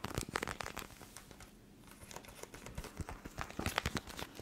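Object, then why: Plastic eye mask filled with gel beads. A clear plastic eye mask filled with teal gel beads is folded, squeezed and crinkled between fingers and long nails close to the mic. Dense, crisp plastic crackles and bright clicks come in bursts, with a quieter lull near the middle before the crinkling picks up again.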